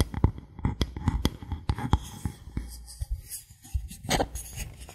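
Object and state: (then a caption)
Bamboo board. Fingernails tap and scratch the surface of a thin, solid bamboo board held at a tilt. The result is a series of short, dry taps with a soft low thump, between quieter scratching rustles. A brief, brighter scrape comes near the end.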